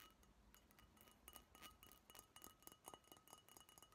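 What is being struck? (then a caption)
Glass beer bottle. A Budweiser brown glass beer bottle with a paper label, likely empty, is held in both hands and tapped and clinked with long nails. Quiet, rapid, irregular clicks each give a brief glassy ping with a high ring near 2.9 kHz that dies away almost at once.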